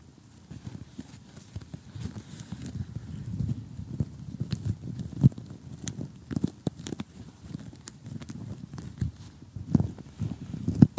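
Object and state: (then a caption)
Cardboard jigsaw puzzle. Short, glitter-polished fingernails tap closely on an assembled, glossy cardboard jigsaw puzzle of colorful houses lying flat, its pieces thin and solid. The result is a rapid, uneven run of soft, dull, low taps with almost no ring. A few sharper, louder clicks stand out near the middle and end.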